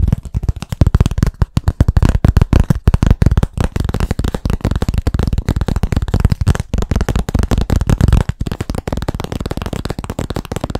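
Rapid, continuous fingertip-style tapping on a blackboard, with dense, uneven bursts of short, dull knocks. The taps are low and thuddy, with almost no bright content, and each one dies out instantly with no ring.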